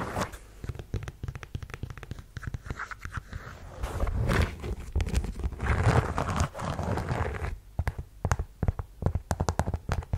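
A black suede ankle boot with a chunky block heel and a lettered strap, hollow inside, is scratched and tapped on the suede with long yellow nails. Quick dry taps and scratchy rasps come close together, with denser rubbing swells in the middle. The sound is soft and mostly low and muffled.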